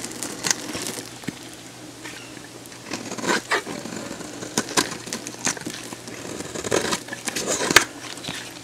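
A metal box-cutter blade shaves a hand-sized, dried solid pink bar of soap held in one hand, in repeated crunchy cuts. Bright, crackly scraping bursts come in uneven clusters over a faint, steady low hum.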